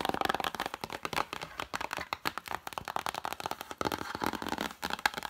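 Long matte dark nails quickly tap and scratch across the illustrated paper-covered cardboard cover of an open vintage hardcover picture book standing upright. The result is a rapid, steady run of dry, crisp clicks mixed with a light scratchy rustle. Each sound is mid-pitched with little low end and dies away almost instantly.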